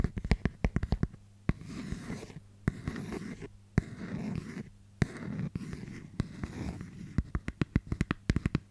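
Long dark-painted fingernails tap and scratch the lid and rim of a small, flat, round, hollow clear plastic case with a paper label, held in both hands. Quick bursts of sharp, dry clicks open and close the clip, with softer, rustling scratches and scattered taps in between. The sound is low-heavy and close.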